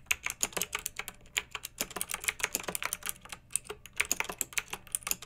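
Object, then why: Plastic mechanical keyboard with round keycaps. Fingertips with long nails type steadily on a pink backlit plastic mechanical keyboard with round, typewriter-style plastic keycaps. The rapid keystrokes make bright, crisp clicks and clacks with almost no low end, each one dying away almost instantly in an irregular, continuous rhythm.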